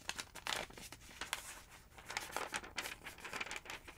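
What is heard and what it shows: Thin yellow paper pages of a large open phonebook resting on a wooden table are lifted and turned by fingertips with long nails. Quick bright crinkling and rustling bursts follow one another closely, with soft, dry page flaps in between and almost no low end.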